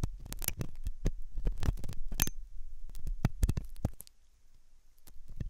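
A steel dental hook scratches inside the ear canal opening of a solid, soft white silicone dummy ear on a binaural microphone. The result is a close, deep, irregular series of soft scraping and thudding contacts with brief bright crackles, quieting briefly near the end before resuming.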